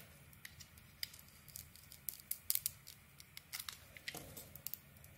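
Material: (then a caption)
Soap. A metal blade scrapes the black polka-dot painted coating off a solid white soap bar held in the hand, peeling it away in curls. Quiet, crisp, bright scratching and ticking sounds come in a quick, uneven series of short scrapes over a faint low hum.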